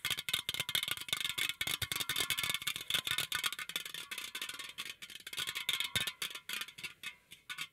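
A green aluminum beverage can is held out at the microphone while fingertips and nails rapidly tap and scratch it. The result is a dense run of quick, bright, hollow clicks and scrapes with a high metallic ring and almost no low end.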